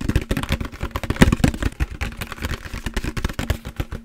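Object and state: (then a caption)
Empty plastic jug. A large, empty, hollow translucent green plastic jug with a green lid is tapped rapidly with the fingertips while held in the hands. The taps are short, hollow, low thumps with a faint resonant tone around 200 Hz, and they run in a quick, uneven stream with a few louder knocks near the middle.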